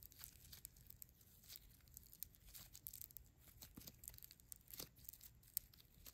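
A small lump of neon green floam, tiny polystyrene beads in soft, solid slime, is squeezed, kneaded and rubbed between the fingertips and short nails of both hands. It makes quiet, dense crackling and crunching with many sharp little clicks and bright bead rustles throughout.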